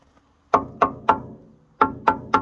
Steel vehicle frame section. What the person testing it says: It sounds hollow, higher pitched.